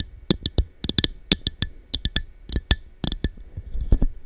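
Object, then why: Small faceted glass cup. Long dark nails tap the side of a small, hollow, empty, textured cut-glass cup with faceted sides, held over the microphone. A quick, irregular series of crisp, bright clicks is heard, each with a soft low thump from the mic. Every tap dies away almost at once, with very little ring.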